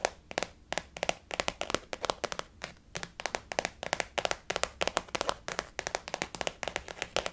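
Long fingernails tap rapidly on a blue floral-print glossy faux leather zip-around wallet, flat and hollow, lying on a white table. The taps come in quick clusters of sharp, dry, bright clicks with almost no ring and very little low end.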